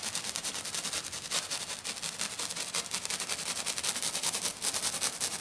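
Short, dark-painted fingernails on one hand scratch and tap quickly across a flat silver glitter sheet lying on a table. The result is a dense, steady stream of bright, crackly scrapes and ticks with almost no low end.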